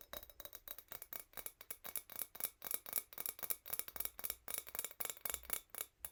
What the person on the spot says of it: The sound is pretty bright